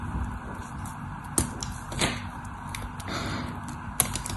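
A craft knife carves the scored surface of a solid white bar of soap held in the hand. Soft, dry scraping and crumbling runs throughout, broken by a few sharp, bright clicks as the blade cuts through.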